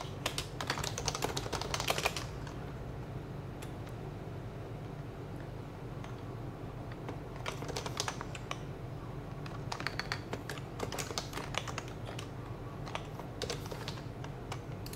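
Steady fingertip typing with both hands on a white compact HHKB plastic mechanical keyboard with PBT keycaps and a hollow case, while the mouse sits idle. Bursts of quick, bright, clacky keystrokes come in clusters with short pauses between them, over a low steady background hum.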